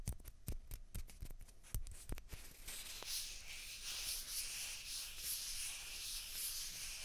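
Two small hollow white plastic ping pong balls, one held in each hand, are scratched and rubbed with fingernails. Quick, sharp clicks come first, then give way to a steady, bright, airy scratching hiss that fills the rest of the clip.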